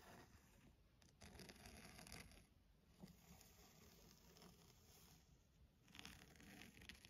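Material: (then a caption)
Leather. Long nails scratch and trace along the textured cover of a burgundy embossed leather-bound hardcover book. It makes a steady, quiet, dry rasping with brighter scratchy bursts around the first two seconds and again near the end.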